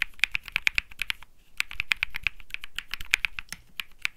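Fingertips type continuously on a cream Think 6.5 mechanical keyboard with Bsun Lollipop switches and plastic keycaps. A rapid run of sharp, bright clacks centers around 2.4 kHz, with a thin low thock beneath. There is a brief pause near 1.4 seconds, and each keystroke stops dead with no ring.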